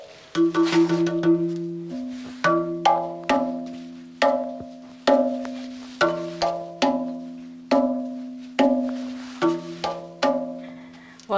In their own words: Kalau anda semua dapat dengar, bila kita ketuk batu ni, bunyi dia memang sebiji macam bunyi gamelan.